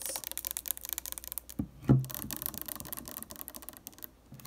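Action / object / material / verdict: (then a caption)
tap / plastic bottle with metal cap / plastic / none. Long nails tap quickly on the metallic cap and the body of a purple plastic makeup remover bottle holding liquid, and the bottle is tilted. A steady run of light, crisp clicks is broken by one louder, deeper thud near the middle that fades fast before the tapping resumes.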